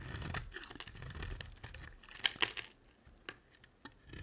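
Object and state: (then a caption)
Bar soap being carved. A utility knife blade carves a solid cream soap bar, making scraping cuts along its edge. Dense, bright crumbling and scraping fills the first two and a half seconds, with two sharp crisp snaps near the end of that stretch. Then sparse, quiet ticks and flakes follow.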